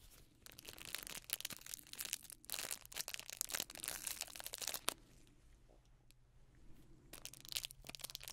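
Black nitrile-gloved fingertips crumple, squeeze and crinkle a small hand-held package wrapped in crinkly silver foil or plastic with a strip of neon yellow tape, its soft wrapping hollow. Dense, bright crackling and crunching bursts come in clusters, ease into a quieter stretch midway, then pick up again near the end.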